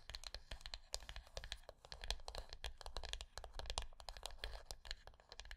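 Long nails of both hands tap quickly and scratch the lid of a small, closed, rectangular hollow wooden box resting on dark cloth. The result is a quiet, steady stream of sharp, bright clicks with a dry scratching texture and a soft low-end body. Each tap dies away almost instantly.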